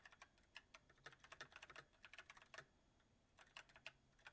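Fingertips of both hands type continuously on a full-size backlit mechanical keyboard with white plastic keycaps on a silver metal frame. It makes a quiet run of bright, clicky key taps that die away almost instantly, centered around 2.7 kHz with little low end, and a brief lull near the three-second mark before the typing resumes.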